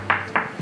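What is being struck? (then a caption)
Wooden cutting board. Two sharp knocks on a thick, heavy cutting board, each a crisp, bright tap with a short ring centred around 1.7 kHz. Despite the board's thickness and weight, its sound is crisper than the other board's.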